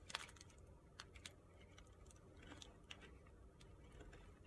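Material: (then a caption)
Soap. A utility-knife blade carves crunchy shavings off the side of a narrow, solid, pale pink soap bar held upright in the hand. Short, crisp, bright crunching scrapes sound in quick succession over a quiet low hum, each cut stopping almost instantly.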